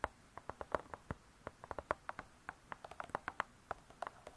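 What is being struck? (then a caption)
Cardboard-covered spiral-bound book. Long nails tap the cardboard cover of a spiral-bound hardcover cookbook, giving 26 quick, dry, hollow clicks in an uneven rhythm. Each tap is short and mid-pitched, around 600 Hz, with almost no ring and a quiet hiss between taps.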